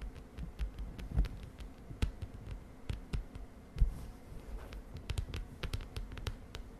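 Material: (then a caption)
Plastic. Long dark nails and fingertips rapidly tap the plastic cover of a closed lilac spiral-bound notebook with a wire spiral, resting on a bed sheet. The result is a quick, uneven run of soft, dull taps with very short decay. The sound is mostly low thuds, with thin bright clicks from the nails and a faint low hum underneath.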